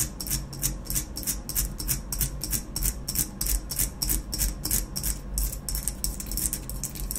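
Long nails rapidly scratch and tap the black base of a hollow ceramic vase, held with the base facing out and edged by a rough, unglazed rim. Quick, bright, scratchy bursts come about three times a second in a loose rhythm over a steady low hum, each burst fading almost at once.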